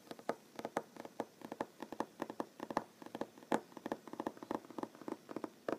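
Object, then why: Wooden tabletop tapped with fingernails. Short nails tap rapidly on a large, solid wooden tabletop, making about 34 quick, dry knocks in uneven bursts. Each tap is brief with almost no ring, and its hollow woody tone centres around 860 Hz against a quiet background.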